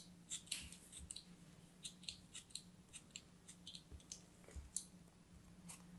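A craft knife cuts and scrapes through a solid chunk of green kinetic sand held in the hands, making a string of short, crisp, gritty crunches and scratches that are bright and high. The sound is quiet and close, with a faint steady low hum underneath.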